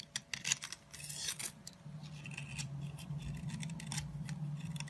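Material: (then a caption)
Soap. A small metal blade scrapes and carves crumbly flakes off a long, narrow, solid orange soap stick held in the hand. Crisp, bright, irregular scraping bursts sound over a steady low hum.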